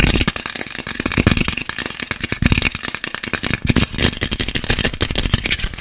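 A small whole orange or clementine with a green stem, solid, is held in both hands near the mic and scratched fast with fingernails. Dense, rapid rasping scrapes come with a low thudding rumble and bright crackle in a steady, busy rattle.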